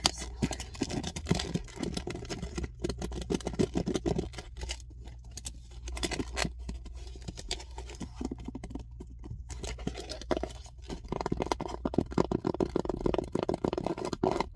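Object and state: Plastic-wrapped cucumbers on a tray.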